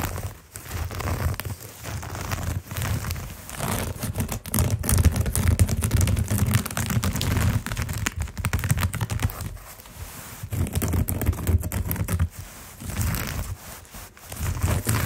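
Fingertips and short nails of both hands scratch a round, coiled natural jute rope mat about 40 cm across, lying on carpet. The result is a dense, continuous rustling scratch with crackly, fibrous detail over a heavy low rumble. It swells and dips in short bursts throughout.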